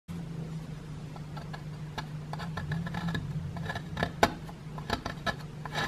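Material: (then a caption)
Plaster. A small solid grey plaster block with a plastic dinosaur skeleton embedded in it is held in one hand and scraped with a wooden digging stick. Short, dry scratches and clicks come in quick irregular bursts over a steady low hum, with one sharper scrape standing out near the end.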